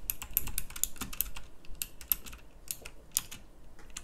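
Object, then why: Plastic mechanical keyboard keys. Fingertips with long nails type on a pink backlit mechanical keyboard with round plastic keycaps. A quick, uneven run of sharp, bright clicky keystrokes plays over a low background rumble, with some strokes landing harder than others.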